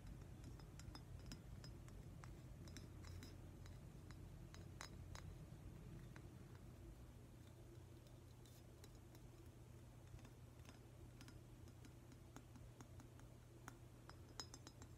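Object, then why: Glazed ceramic octopus figurine. A hand-sized, glossy metallic-green glazed ceramic octopus figurine is tapped and clinked with fingernails. Quiet, irregular, bright clicks that die away almost at once sit over a steady low hum throughout.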